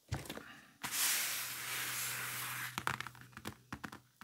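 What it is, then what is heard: Faux leather briefcase. Fingertips and nails tap and scratch across the surface of a large black faux-leather game briefcase with a red stripe and handle, lying flat and closed with a hollow case. A few light taps lead into a long, bright, hissy scratch with a faint low hum underneath. After that come more crisp, scattered taps that fade out quickly.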